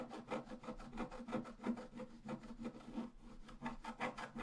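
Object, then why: Scratch-art paper card scratched with a wooden stylus. A pointed wooden stylus scratches a flat, black-coated scratch-art card lying solidly on a table. Thirteen quick rasping strokes in a steady back-and-forth rhythm produce a dry, papery scrape. The scrape has a low-mid tonal edge and fades almost instantly after each stroke.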